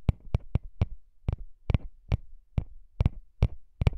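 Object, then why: Small metal microphone capsule grille. Fingertips tap and rub the small hollow metal grilles of microphone capsules mounted on a recorder. Eleven short, dry, low thumps around 94 Hz land at a quick, uneven pace, with soft scratchy rubbing between them. Each tap dies away almost instantly, leaving a close, muffled sound.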